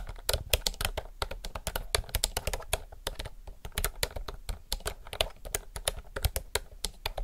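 Both hands type fast with their fingertips on a retro, typewriter-style mechanical keyboard with round plastic keycaps. Its rapid, steady stream of sharp, bright clacks has a low thud under each keystroke. The clicks are short and dry, dying away almost instantly.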